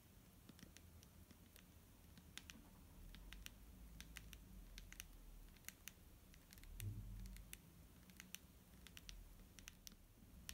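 Fingernails tap a clear plastic micellar water bottle filled with liquid. Quick, sharp, bright clicks come in an irregular patter over a soft low rumble, each tap dying away almost instantly.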